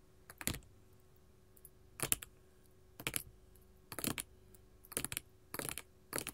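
Long gold metal filigree finger claws rapidly tap a flat, solid sheet of small colored glass mosaic tiles resting on a table. The taps come in short, bright clicking bursts with quick decay, separated by brief pauses over a quiet background.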